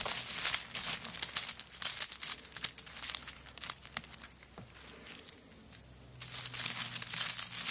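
Long nails scratch across the coconut shell chips covering a handbag lying on a table. The result is a dense, bright, crackling scrape with quick irregular bursts that fades to near quiet about two-thirds of the way through, then returns at full intensity.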